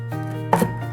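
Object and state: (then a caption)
Crispy baked parmesan crisp. A knife cuts through a baked, cooled and blotted sheet of parmesan cheese crisp, giving two short, sharp crackling snaps over a steady tonal background. The crackle shows the crisp is very crispy, like crackers.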